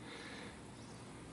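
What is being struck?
Nothing is struck.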